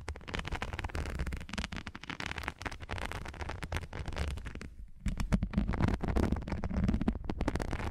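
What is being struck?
Textured plastic non-slip strips.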